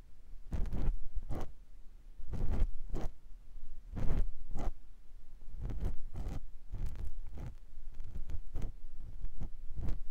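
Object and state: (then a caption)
Silicone ear scraped with a silicone pick. A clear silicone ear pick scratches inside the ear canal of a white silicone ear mounted on a binaural microphone block. It makes a series of short, muffled scraping and rubbing strokes in rhythmic bursts, heavy in low, dull rumble with a soft crackle on each stroke. Quiet pauses fall between the bursts.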